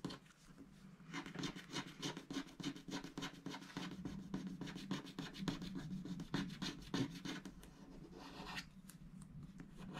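A wooden stylus scratches a thin, wax-coated scratch art sticker sheet along a tall giraffe shape, with strokes running up and down while the other hand presses the sheet flat. Quick, fairly regular raspy scrapes with a low hum underneath run for about eight seconds. They then give way to a quieter, brighter scratch at the end.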